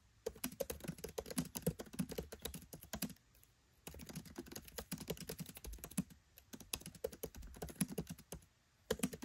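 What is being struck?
Laptop keyboard, plastic keycaps.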